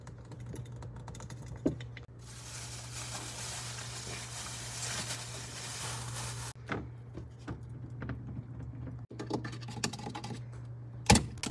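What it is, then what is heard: Refrigerator tapping. Light, quick fingertip-style taps on a refrigerator in ASMR style, scattered irregularly over a steady low hum near 120 Hz. From about 2 to 6.5 seconds a broad hiss rises over the taps. A sharper, louder tap lands near the end.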